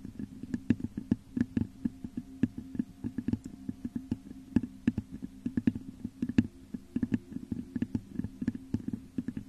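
Long nails scratch and tap the top of a hollow, textured clear glass vase set upside down over a microphone. A rapid, uneven run of short taps and scrapes rings with a hollow, low-mid resonance around 240 Hz, each hit dying away almost instantly under faint bright clicks.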